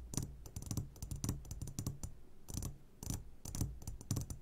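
Fingertips tap rapidly on the sides of an upside-down clear glass jar full of hard candies. The result is a quick, uneven patter of short, crisp clicks with bright high edges and a low thud underneath. The taps have almost no ring and come in loose clusters.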